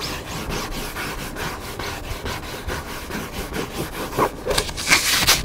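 Fingertips and nails scratch and rub the cover and spine edge of a hardcover cookbook lying flat. Loosely rhythmic, bright rasping strokes repeat at a steady pace, growing louder and sharper toward the end.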